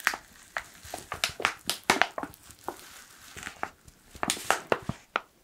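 Fingertips crinkle a black foil coffee pouch, producing a quick, irregular series of sharp, dry crackles. Each crackle is bright and papery with almost no low end, and it cuts off instantly with a faint hiss between them.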